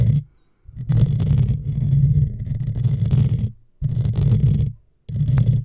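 Long fingernails scratch a hollow black metal mesh microphone grille, first with one hand and then with both hands. The sound is a dense, low, rumbling scrape centered around 140 Hz, heard as four sustained bursts separated by short silences.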